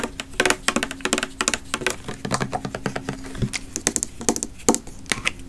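A pink plastic body mist bottle with a copper cap, filled with liquid, is tapped and scratched with fingernails close to the microphone. Quick, sharp, bright clicks and scrapes come in an uneven, rapid rhythm, with a faint low hollow tone underneath.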